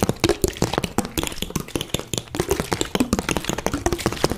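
An empty, hollow, clear plastic Bisleri water bottle with a green cap is crinkled by hand, then tapped and scratched with long dark-painted nails. The result is a rapid, uneven string of short, dry clicks, taps and crackles with almost no ring, over a low hollow body tone and soft scratchy hiss.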